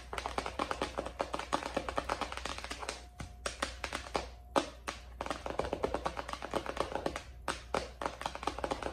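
Long acrylic nails of both hands tap fast on the plastic sleeve cover of a white ring binder lying flat on a desk. The rapid, dry, clicky taps come in dense bursts with brief pauses, over a faint steady low hum.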